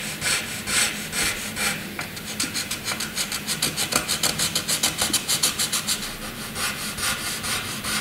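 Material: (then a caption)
Paper. A graphite pencil tip scratches across a flat white sheet of drawing paper, drawing lines and scribbles. Bright, raspy scraping comes first in a few long strokes, then in a quick run of short back-and-forth strokes, before easing back into broader strokes. There is a faint low hum underneath.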